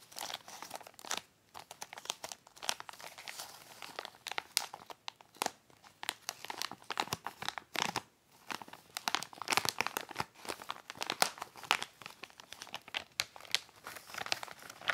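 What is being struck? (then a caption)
Plastic shipping mailer bag. Fingertips press, rub and crinkle a soft white plastic poly mailer bag holding something flat inside as it lies flat on a lace tablecloth. Dense, bright crinkling and crackling plastic sounds come in irregular bursts throughout, with brief quiet pauses between handling passes.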